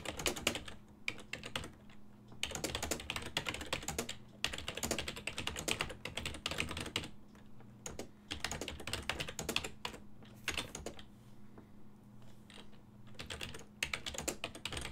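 Fingertips of both hands type on a full-size black and silver plastic desktop keyboard, its keys set on a hollow body. Bursts of quick, bright clicking keystrokes alternate with brief pauses, and each tap is short and dry. A faint steady low hum runs underneath throughout.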